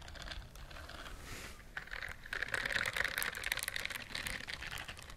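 Fingertips and long nails scratch and rub the soft bristles of a white silicone bristled dish glove held up close to a microphone. The result is a quiet, irregular stream of fine, dry scratching and ticking with a bright, crisp edge, growing busier and denser in the second half.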